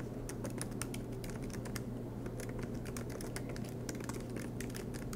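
Fingertips of both hands type rapidly on the black plastic keycaps of an aluminium MacBook Pro laptop resting on a desk mat. The result is a quiet, continuous stream of soft, bright key clicks over a steady low hum.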